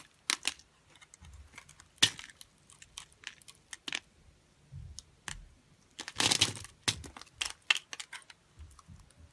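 A solid, hand-sized green bar of soap held in the palm is scored into a grid and scraped with a metal blade, so small soap cubes crumble off. Short, bright, crisp scrapes and crunchy clicks come in quick bursts with almost no ring. A longer, dense scrape stands out near the middle.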